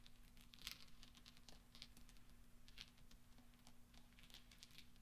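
Fingertips and nails tap and roll small solid steel pachinko balls on black velvet, making quiet, bright, high clinks that stop quickly. The clicks come in an irregular patter over a steady low hum.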